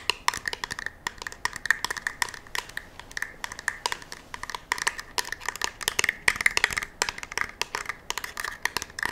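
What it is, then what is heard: Polymer rifle magazine. A black polymer rifle magazine, held edge-on, is tapped and scratched with long nails. The result is a rapid, uneven stream of sharp, dry clicks and scraping with a bright ringing tone near 2 kHz. Each tap dies away almost at once.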